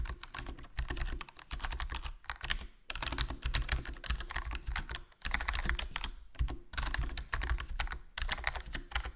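Fingertips type continuously on a HyperX Alloy Core RGB plastic membrane gaming keyboard with a foam mod, black plastic body, black plastic keycaps and a hollow case. A rapid stream of soft, short clicks with a low thump under each keystroke runs in bursts separated by brief pauses.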